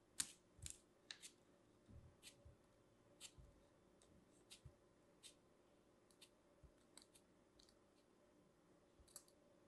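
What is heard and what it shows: A thin metal craft knife blade repeatedly scrapes and slices through a small solid lump of purple kinetic sand with starch, held in fingers with long manicured nails. Quiet, crisp, bright crunchy clicks come at an irregular pace, each very short with almost no ring, over a faint steady background hum.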